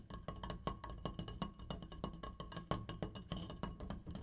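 An opera light is tapped in a quick, uneven series of light taps, giving short, dry clinking sounds. Each tap has a low thump with a faint ringing tone around 1 kHz and dies away almost at once.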